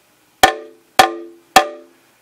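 A Klipsch Cornwall IV plastic midrange horn, held free and undamped, is tapped by hand three times. Each tap gives a bright knock that rings into a resonant tone around 760 Hz and dies away quickly. The ringing is the coloration the modification is meant to reduce.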